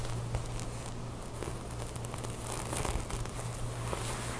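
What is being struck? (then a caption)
Ribbed knit fabric top with drawstring. Long nails scratch and rub a beige ribbed knit top with a corded drawstring lying on a table while hands gather the fabric. The result is a soft, crackly scratching and rustling over a steady low hum, with a few faint brighter scrapes poking out.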